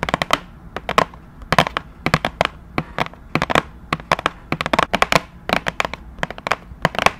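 Long nails tap and scratch across the surface of a flat, rectangular printed cardboard retail box for a keyboard, held in both hands close to the microphone. The result is a quick, irregular run of sharp, dry clicks in clusters, each one bright and dying away almost instantly, over a faint, soft background.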